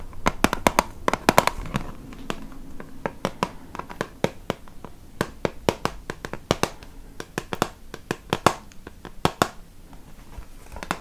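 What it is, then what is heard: Plastic makeup palette (tapped). A small, flat, hollow plastic compact palette with a clear lid and black base, holding six highlighter pans, is held in the hands and tapped and scratched with long painted nails. Rapid, irregular sharp clicks and taps ring off almost instantly, with a dry, bright plastic tone and soft scratching between them.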